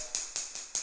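Ceramic floor tile set in thinset on concrete, laid the day before, is tapped four times, giving short, bright clicks with little low end that die away quickly. The tile sounds solid, as a fully bonded tile should, because the tap reaches the concrete through the thinset.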